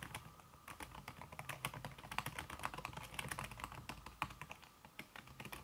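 Fingertips with long red nails type fast on a backlit laptop keyboard in a silver aluminum body, its keys covered by a thin red silicone skin. A rapid, uneven stream of soft, muted clicks and taps plays with very short decay, a slight tone near 1 kHz, and bright clatter on top.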